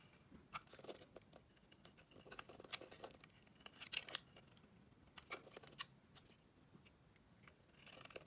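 A dark metal blade scrapes and carves the surface of a solid, hand-sized purple and white striped bar of soap with an embossed brand, held in the hand, as shavings fall away. Quiet, bright, crisp scraping strokes sound in short bursts with soft gaps between them. Each cut stops dead, with no ring.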